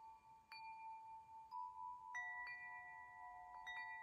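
Fingertips repeatedly strike and shake the hollow metal tubes of a wind chime hanging from a crossbar. Each strike sets off clear, bell-like tones centered around 2 kHz with bright overtones. The tones ring for nearly two seconds and overlap into a soft, shimmering layer between strikes.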